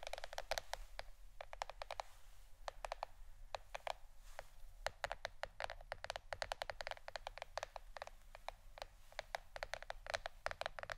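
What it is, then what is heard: Plastic board, tapped. A plastic board shaped like a shirt is tapped with the fingernails in quick, irregular bursts of short, dry clicks. Each tap is bright and crisp, dies away almost instantly, and sits over a faint, steady low hum.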